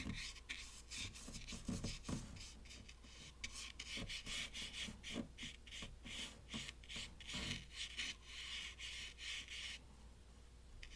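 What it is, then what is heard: Watercolor paper being brushed. A round brush loaded with dark paint is rubbed and stroked across a sheet of watercolor paper taped to a wooden table. The sound is a series of soft, bright, scratchy strokes rising and falling in quick succession over a faint, steady low hum, with a brief quieter stretch near the end.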